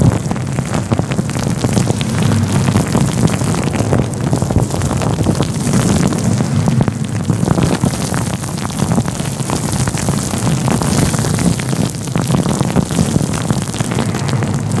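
Fingertips rub and scratch a fluffy grey-white synthetic faux fur windscreen covering a microphone. The result is a steady, dense, muffled rustling roar, heavy in the low end, with constant small scratchy crackles layered on top and almost no bright content.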